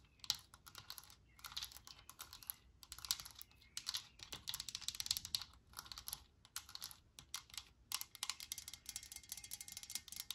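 A metal Lysol aerosol spray can standing on a cloth-covered surface has its cap and body tapped with long nails. The result is rapid, bright, clicking taps in quick bursts, each dying away almost instantly, with very little low end.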